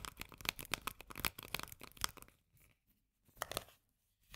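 Long painted nails rapidly tap and scratch the paper label and metal body of a small, sealed, full Bonduelle sweet corn can held upright. Dense, bright, crinkly clicks and scrapes fill the first two seconds, then fade to near silence, with a short burst of tapping returning later and another starting at the very end.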